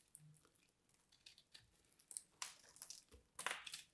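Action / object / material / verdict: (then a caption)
scrape / soap ball / soap / none. A small dark blade scrapes and cuts flakes from a hand-sized, porous, crumbly purple soap ball held in the fingers. The sound is a quiet, irregular series of bright crinkling, crunching scrapes, with two louder, denser bursts of crumbling near the end.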